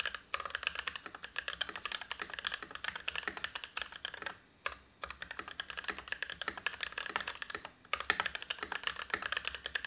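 An Everglide SK87 Dual-Mode tenkeyless mechanical keyboard, with lubed Gateron INK Black v2 switches, PBT keycaps, a steel plate and an ABS plastic case, is typed on steadily with the fingertips of both hands. A dense stream of short, crisp clacks is centered in the mid-high range around 1.8 kHz with bright overtones. It is broken only by a few brief pauses.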